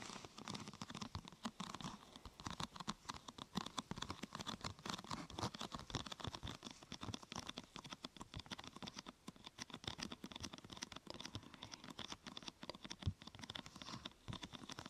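Long nails tap rapidly on the top and sides of a thin, glossy purple plastic sheet curved into a hollow half-tube. The result is a quiet, continuous patter of short, dry, crisp clicks with almost no ring, a hollow low body, and a bright crackly edge.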